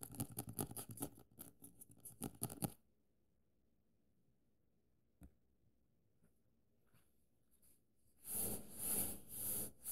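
Quick dry taps and nail scratches on a paperback cover, then a soft papery rustle as it opens.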